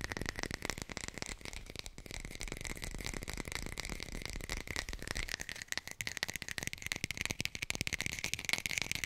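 A textured artificial plastic lemon is tapped rapidly with the fingers and picked up close by a hi-fi microphone. The result is a dense, rattling stream of short, dry clicks with a steady bright ring around 2.2 kHz, running evenly for about nine seconds.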